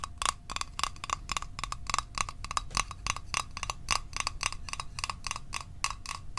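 A small hollow metal Altoids mint tin is tapped with the fingertips and nails at a steady, quick pace. It makes a continuous stream of sharp, bright clicks with a tinny ring near 1 kHz and 2.8 kHz, and each tap dies away almost instantly.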